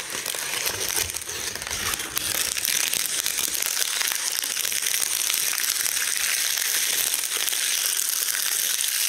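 Hands in white latex gloves crush and crumble large, thin, brittle dried linden leaves held over a round wooden board. The result is a steady, dense, bright crackling and crinkling that fills the whole clip, with almost no low end and a slight rise in loudness after the first two seconds.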